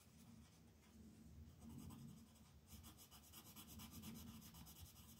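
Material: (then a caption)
Paper. A red colored pencil is rubbed back and forth across a flat paper coloring book page to fill in letters. Quiet, soft scratchy strokes are heard over a low hum, turning brighter and more rhythmic partway through as the pencil moves faster.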